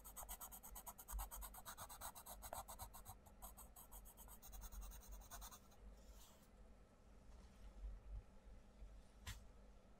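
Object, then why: Paper page of a colouring book rubbed with a wooden pencil. A wooden coloured pencil rubs a mandala page of an open paperback colouring book in short strokes. Quick, rhythmic, papery scratches with a bright hiss fill the first five and a half seconds, then give way to softer, quieter rubbing with one sharp bright scratch near the end. A low background rumble runs throughout.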